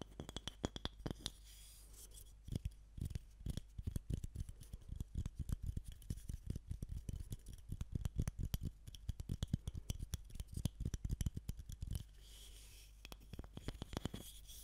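A solid, hand-sized block of pale unfinished wood with a tapered end is held up close to a Razer Seiren X microphone and scratched and tapped with long manicured nails. Rapid, dry, clicky taps and scratches come in dense bursts, with brief quiet gaps near the start and near the end. Each hit is short with no ring, and the sound is weighted toward low thumps beneath a faint bright scratchy edge.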